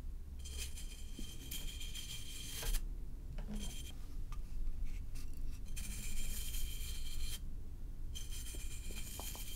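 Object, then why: Aluminum can. A hollow silver aluminum can or bottle, held on its side, is brushed along its surface with a flat bristle paint brush with a red handle. Soft, bristly scratching strokes come in bright hissing bursts with a faint metallic tone, over a steady low rumble. The clip stays quiet throughout.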